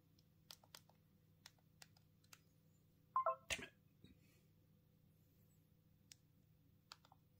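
Thumbs press the keypad buttons of a small black plastic Punkt mobile phone held in the hands, making sparse, irregular, sharp clicky typing taps. Midway there is a louder cluster with a brief tonal beep near 1 kHz. Soft low hum sits underneath.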